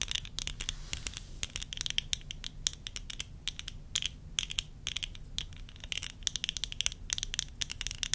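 Long acrylic nails tap and scratch along the rims and temples of small, thin, solid tortoiseshell plastic (acetate-style) eyeglasses with clear lenses, worn on the face. The result is a rapid, irregular run of sharp, dry clicks with almost no ring, bright and centered around 3.6 kHz, over a faint low rumble.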